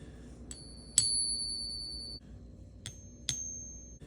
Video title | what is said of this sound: Don’t Get Scammed! 😱 How to Tell If Your Coins Are FAKE | Do you hear that sound? That's a pretty sound.